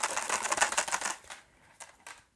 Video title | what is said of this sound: Oddity Archive: Episode 225.5 – Ben’s Junk: Wolverine Moviemaker Pro 8mm & Super8 Film Scanner | if i shake it around you can hear the ghosts of all my past mistakes with it